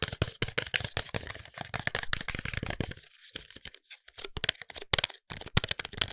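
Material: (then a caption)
Paperboard. Fingertips and nails tap and scratch along the faces of a closed, tall white paperboard serum box. Quick, dry, crackly taps and rustling scrapes come in dense bursts with bright high edges and a light hollow thump, easing into a quieter, sparser stretch midway before the tapping picks back up.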